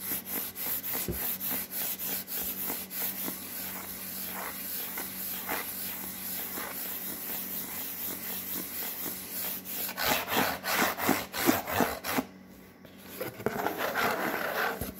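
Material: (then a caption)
Cardboard. Fingertips and nails rub and scratch across a white cardboard Priority mail box, giving dry, papery scraping strokes with a bright hiss that repeat quickly at an uneven pace. The strokes grow louder and coarser toward the end, with a brief quieter lull just before the final burst of scratching.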